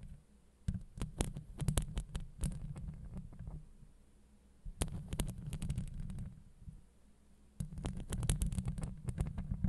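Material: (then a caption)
Steel mesh. Long acrylic nails scratch across the steel mesh grille of a Blue Yeti microphone. The result is a deep, muffled rumbling scrape full of thumpy low-end scuffs and quick bright ticks, coming in three dense bursts separated by short, quieter lulls.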